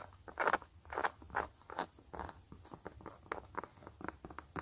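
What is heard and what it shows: Long nails scratch a hollow, empty gray knit mesh slip-on sneaker held in the hand, first across the fabric upper and then along the white rubber sole tread. The result is a quiet series of short, dry, raspy scratches centered in the midrange, with longer, louder strokes at first and quicker, lighter flicks toward the end.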